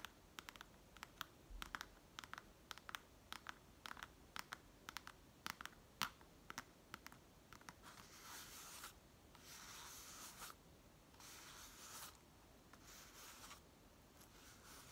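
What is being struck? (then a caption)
Woven dried palm leaf pouch. Long nails scratch across a hollow woven pouch of dried palm leaf. For the first half, quick, sharp, bright ticks crackle over the weave in a rapid series. After that they give way to longer, hissing rasps that sweep across the surface in broad bursts.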